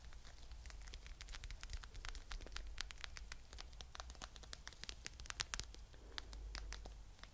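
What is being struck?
Faux fur plush pouch.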